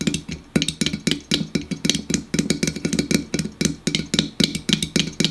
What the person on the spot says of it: Fast tapping on a pop can